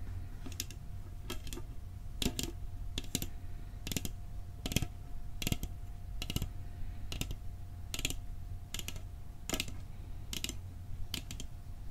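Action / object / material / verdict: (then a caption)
tap / metal cookie tin / thin metal / none. A metal cookie tin is tapped with quick, light strikes for ASMR, giving a run of short, dry clicks with bright metallic edges. The taps come in small clusters at an uneven pace and die away almost instantly, over a steady low hum and a faint constant tone.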